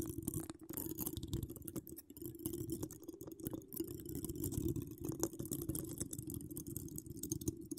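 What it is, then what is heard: Metal mesh microphone grille being scratched. Long acrylic nails decorated with charms scratch across a hollow woven metal mesh microphone grille. The result is a dense, continuous run of close, rasping scratches over a heavy low rumble and a steady hum-like tone near 330 Hz, with faint bright crackles flicking above.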